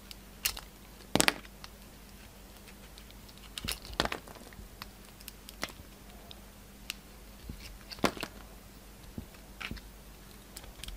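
A yellow utility knife slices the top layer off a solid oval DURU bar soap, purple with glitter and a pink core. Short, crisp scraping and cutting crackles sound at uneven intervals over faint steady background noise, with the loudest bright snaps near the start and middle.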